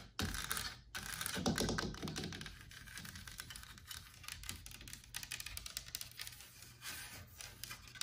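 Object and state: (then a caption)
Carved wooden wall panel. Long black nails tap and scratch along the carvings and frame edge of a large, solid, white-painted, distressed carved wooden wall panel with leaf motifs, mounted on the wall. The result is a steady run of quick, light clicks and dry scratching, with a louder burst near the start.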